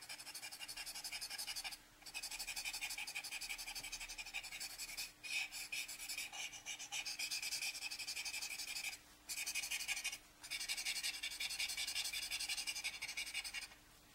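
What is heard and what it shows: A rolled paper blending stump, held in the hand, rubs and smudges charcoal swatches on a rough-textured A4 paper sketch pad lying flat. The result is a steady, bright, scratchy rubbing, broken by four brief pauses and backed by a faint, constant low hum.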